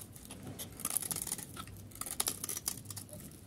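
A utility knife blade scrapes the surface of a solid, pale yellow dry soap bar held in the palm, shaving it into powdery flakes. The sound is a quiet run of dry, crisp scratching strokes with bright, hissy crackle and almost no ring after each stroke.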